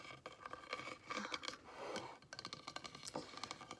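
Long red nails tap and scratch a hand-sized frosted pink glass soap dispenser with embossed flowers, hollow and partly filled, held upright on a wooden table. Quick, bright clicks with a faint glassy ring around 2 kHz alternate with softer scratching passes across the raised pattern.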